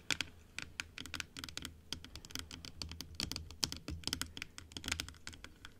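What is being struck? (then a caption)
Plastic dental teeth model. Long acrylic nails tap fast on the top and teeth of a large, hollow plastic dental model that stands closed on a table. The result is a quick, uneven run of sharp, bright clicks with almost no ring, over a faint low hum.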